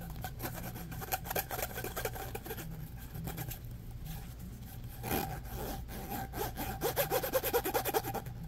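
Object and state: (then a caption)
Plastic pop tube, scratched. Fingernails scratch quickly back and forth along the corrugations of a hollow, orange ribbed plastic pop tube, held close, producing a dense, uneven rasping over a steady low hum. The strokes grow louder and more distinct toward the end.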